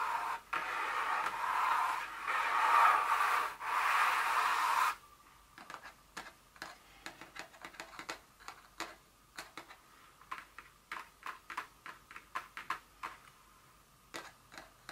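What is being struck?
Small cardboard perfume box.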